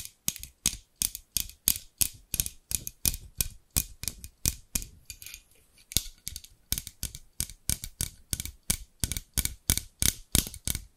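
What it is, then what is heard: Scissors with plastic handles and steel blades, tapped and scratched. Long pink nails tap and scratch the translucent amber plastic handles of a large pair of scissors with steel blades, close to the microphone. About 45 short, sharp, bright clicks with faint scratchy rasps come in an uneven rhythm of roughly three per second, easing briefly around the middle before picking up again.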